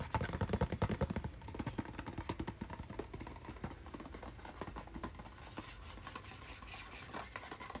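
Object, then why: Hand-sized cardboard retail package. A hand-sized, hollow white and blue cardboard retail package with a hang tab is held up and tapped and scratched with fingernails. Quick, dry, hollow taps come loudest in the first second or so, then settle into a steady run of softer, rapid scratching and tapping with a low, boxy body and little high-end brightness.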